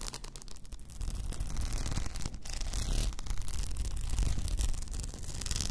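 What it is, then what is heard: Rhinestone-covered plastic tumbler scratched with nails. Long nails scratch across a hollow, upright cylindrical tumbler covered in blue plastic rhinestones and topped with a frosted plastic lid. The result is a steady, busy scratching and rubbing texture with a deep low rumble underneath and a faint bright hiss, continuing without clear breaks.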